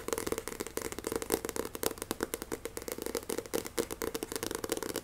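Fingernails tap fast and grip the glossy card cover of a solid Shaman King paperback manga. About 29 sharp, dry clicks come in a rapid, uneven run. Each has a mid-toned body and a bright, crisp edge, and dies away at once with no ring.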